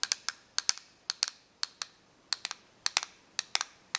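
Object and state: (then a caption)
Plastic correction tape dispenser. Long nails tap and scratch the surface of a small, hollow, clear plastic correction tape dispenser held flat on paper. Seventeen sharp, bright clicks come in quick, uneven bursts, each dying away almost instantly with no low-end body.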